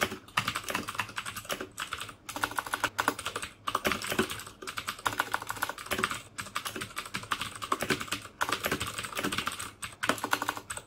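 Fingertips type continuously on the plastic keycaps of a black plastic mechanical keyboard with Cherry MX Blue switches. A rapid, steady stream of sharp, bright clicks with a midrange clack stops almost instantly after each keystroke, broken by a few brief pauses between bursts.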